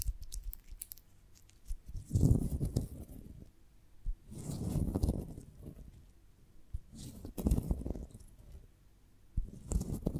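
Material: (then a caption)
Beeswax. A beeswax honeycomb on a wooden branch is held in one hand while the long nails of the other hand tap and scratch across its comb cells. The sound is soft, dull and low-pitched, arriving as muffled scratchy bursts of rustling with a few sharper taps and quiet pauses between them.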